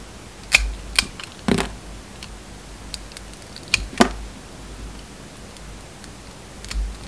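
A metal utility knife blade carves and scrapes a round, solid bar of soap with a red and gold striped coating and a pink inside. Short, crisp clicking cuts and light scraping come at irregular intervals, bright and dry with almost no ring, over a faint low hum.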